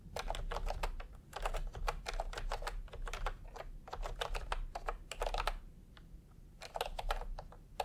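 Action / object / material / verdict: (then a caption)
tap / plastic computer keyboard with round keycaps / plastic / none. Fingertips tap across a full-size plastic typewriter-style computer keyboard with round retro keycaps in peach and cream, lying on a white cloth. Rapid, bright plastic clacks come in quick bursts over a steady low rumble, with a brief lull near the six-second mark before the typing picks up again.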